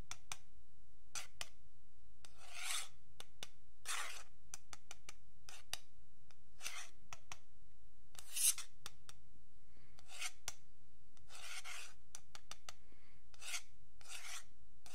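A thin metal pick scrapes along the ridge of a long, flat, solid wooden yardstick while fingertips rest on the ruler. Repeated short, bright rasping strokes sound over a steady low hum.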